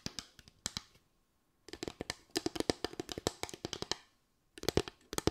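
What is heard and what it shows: Long white acrylic nails tap and scratch a small board of parallel bamboo slats with gaps. The result is quick, dry, clicky taps in uneven clusters with a bright edge and a short hollow knock, separated by brief silences.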